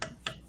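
A still-thick section of a wooden vessel, being turned from a chunk of firewood, is tapped three times. Each tap gives a short, dry, solid knock with almost no ring. It sounds like a solid chunk of firewood rather than the hollow, tinny tone of thin walls.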